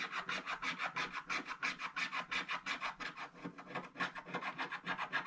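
A wooden stick scratches a black wax-coated scratch-art page in a book with rapid vertical strokes, giving a dry, bright rasping sound of about 23 quick, fairly even strokes. The black coating is scraped away over a growing area.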